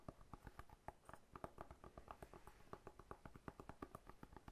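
A whole fresh pineapple with its crown, solid with a scaly rind, is held horizontally and tapped on the rind with the fingertips. About thirty quick, dull taps come in an uneven run, each a short hollow knock centered in the mid range near 660 Hz, with plenty of low thump. Each tap dies away almost at once.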